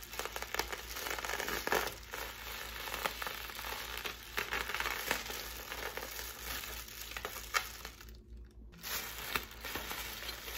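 A clear plastic air-pillow packing strip with blue print, hollow and air-filled, is squeezed and crinkled in both hands with fingers and long nails. It makes steady bright crinkling and crackling with many sharp little snaps and a faint low hum underneath. Near the end there is a brief quiet gap before the crinkling picks back up.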